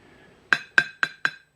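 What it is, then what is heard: Empty ceramic plate sounding empty. A ceramic dinner plate, left empty, is set down four times, giving four bright, short clinks with a ringing tone near 1.6 kHz. The empty plate sounds hollow and empty, in contrast to a plate with a rubber glove placed on it.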